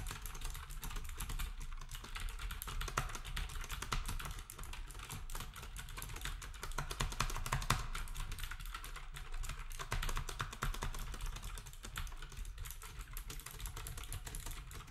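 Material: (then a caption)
Plastic. A black compact plastic typewriter-style keyboard with round plastic keycaps is typed on steadily with fingertips for the full clip. The result is a dense, rapid stream of short, dry clicks and clacks over a steady low rumble, with slight swells and dips in loudness.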